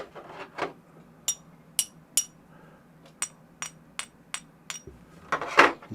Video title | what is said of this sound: Yooper Silver! Hand poured and tested! | got to have that nice kind of medium to high pitch